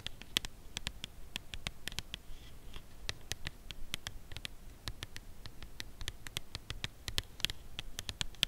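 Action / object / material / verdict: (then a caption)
tap / cardboard chocolate box / cardboard / none. A full red Lindor cardboard chocolate box, held upright, is tapped with long nails on its front face and top end. A steady series of quick, dry clicks with bright high edges and almost no ring continues throughout, over a faint low background.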